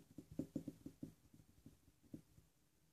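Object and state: Glass ink bottle.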